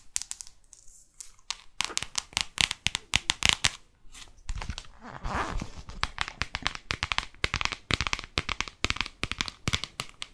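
A New York paperback guidebook is tapped with long nails on its spine, back cover and front cover. Rapid, dry, bright clicks come in uneven bursts, with a brief scratchy, rustling stretch in the middle.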